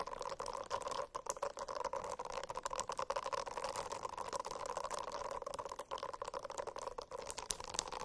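A silicone-covered notebook is scratched with the nails, giving a steady, dense rasping texture with a hum-like band in the low mids. Quick, bright crackles and scrapes break through it over the full eight seconds, with brief dips between strokes.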